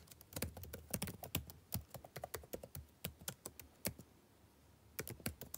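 Fingertips type continuously on a backlit laptop keyboard with plastic keys, giving a quick run of soft, thuddy taps, each with a short bright click on top. The typing breaks off in a brief pause of near-silence around the four-second mark, then a few more taps follow.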